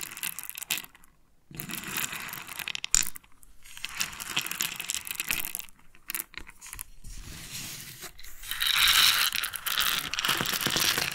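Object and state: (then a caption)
Pearls. Freshly extracted pearls are handled and clicked together, giving bright clinking and rattling with most of the energy in the high frequencies. The clatter comes in bursts with brief pauses and grows louder and denser toward the end.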